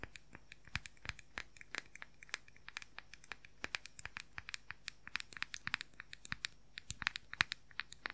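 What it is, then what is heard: Plastic powder compact, tapped with fingernails. Fingernails rapidly tap and scratch the lid and rim of a round, palm-sized plastic makeup powder compact with a printed lid. Dozens of quiet, sharp, dry clicks and light scratches follow one another over about eight seconds. Each tick is bright and dies away almost instantly over a faint, low, steady background hum.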